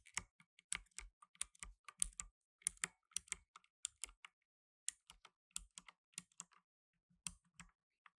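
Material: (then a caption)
Plastic. Fingertips in blue nitrile gloves type rapidly on a black plastic tenkeyless mechanical keyboard with plastic keycaps. About 26 sharp, bright clacks with a soft low thud beneath each fall in an uneven rhythm, separated by brief pauses. Each keystroke dies away almost instantly.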